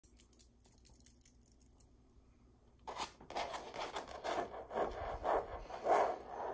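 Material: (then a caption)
Canvas. Long acrylic nails and fingertips trace and scratch the textured fabric surface of a stretched canvas print of a red rose hanging on a wall, with the canvas stretched over a hollow frame. Faint, light ticking and soft rubbing fill the first few seconds, then a series of louder, raspy scratching strokes begins, with a papery midrange tone. The strokes rise and fall in a loose rhythm and grow stronger toward the end.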